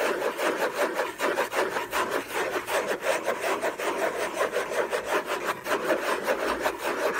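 Fingertips and short nails scratch the lid of a closed, long rectangular orange Hermès gift box made of cardboard covered in textured paper, with unknown contents, lying on a fluffy blanket. The result is a steady run of quick, dry rasping strokes, about two or three per second, centered in the midrange with a faint bright edge and almost no low end.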